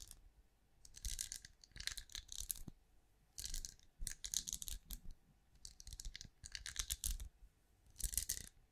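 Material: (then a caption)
Wax. A hand-sized, cream, pinecone-shaped wax candle that appears solid is held beside a microphone while long acrylic nails scratch and tap its scales. Bursts of bright, crisp, clicky scratching and tapping come in clusters, with quiet gaps between them.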